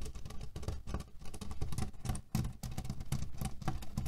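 Fingernails scratch and tap quickly on a cotton cushion filled with cherry pits. The result is a dense, continuous run of short, dry, low-heavy rattling and crunching as the pits shift under the fabric.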